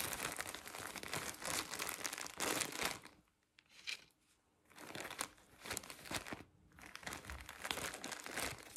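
A hand-sized, full pack of 50 cotton pads wrapped in thin, soft plastic film is held in both hands while fingertips with painted nails squeeze and crinkle the wrapper. Dense, bright crinkling comes in bursts, with a quieter lull around the middle. The crackle stays high and airy, with almost no low end.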